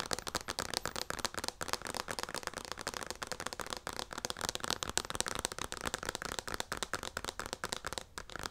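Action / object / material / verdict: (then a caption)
tap / plastic lotion pump bottle tapped and scratched with fingernails / plastic / none. Long nails tap and scratch rapidly across the front of a hand-sized white plastic lotion pump bottle with a yellow label. The result is a dense, steady stream of dry, crackly clicks and scrapes with bright, high-end texture and almost no ring.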